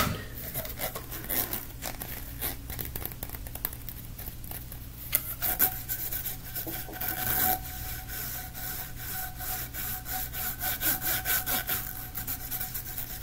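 A hollow blue corrugated plastic pop tube is compressed short and then pulled out while fingers twist and rub its ridged plastic. This makes a rapid stream of dry, bright ridged clicks and rasping crackles over a steady low hum. About midway, a faint hollow whistling tone rises and lingers under the rubbing.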